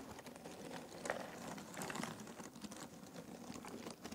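Fingertips rummage through a pile of thin cardboard jigsaw puzzle pieces in an open box. The result is a steady, quiet rustle of dense, overlapping clicks and shuffles with a bright, papery texture and no clear pauses.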